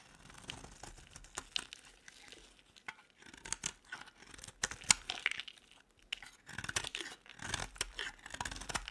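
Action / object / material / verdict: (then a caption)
scrape / bar of soap scraped with a metal blade / soap / none. A metal utility-knife blade repeatedly scrapes a solid, palm-sized, oval orange bar of dry soap, shaving off flakes. The scraping sounds as quiet, dry, crinkly rasps and sharp ticks, mostly high and bright with little low end. It comes in uneven bursts, with denser stretches of scraping toward the end.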